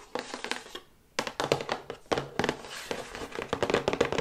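Long white nails tap quickly on the front and back panels of a medium-sized, hollow, flat printed paperboard box for an electric toothbrush, held upright. The result is a stream of dry, hollow cardboard taps with a mid-range tone around 470 Hz. The taps die away almost instantly, with a brief pause near the one-second mark.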